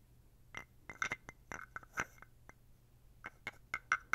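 A small, dark carved wooden toad is held close to the mic and scraped and tapped with fingers and a wooden stick along its ridged back. Short, dry clicks and raspy scrapes come in irregular bursts, some with a brief hollow ring around 1.5 to 2 kHz that dies away almost at once. A faint low hum runs underneath throughout.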